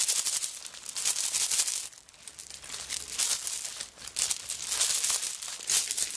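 A handbag covered in coconut shell chips is lifted and shaken, making the chips give a dense, bright, crackly rattle, with some fingernail scratching mixed in. The rattling comes in bursts that briefly quiet around the two- and four-second marks before picking back up.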